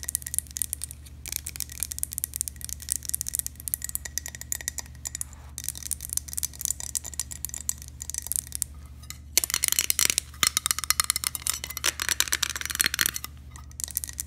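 A glass object is tapped rapidly with light, bright clicks and clinks over a steady low hum. The tapping grows louder and denser about two-thirds of the way through, then eases off near the end.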